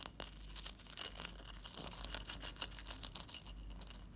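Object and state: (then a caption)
Ice block. Long fingernails tap and scratch a large solid block of clear ice resting on a teal cloth. Quiet, crisp, bright scraping and fast irregular clicking fill the clip, with a faint low hum underneath.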